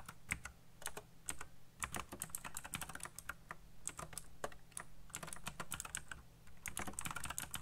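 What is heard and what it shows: Fingertips type fast on a colorful backlit mechanical keyboard with black plastic keycaps, producing a rapid stream of sharp, bright clacks with very short decay. A steady low hum sits underneath the keystrokes throughout.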